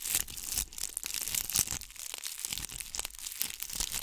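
Long nails scratch a ball covered in bugle beads, held close to the microphone. A dense, bright, crackling scratch carries on throughout, with quick clicky bursts and crinkly texture that rises and falls in short spurts.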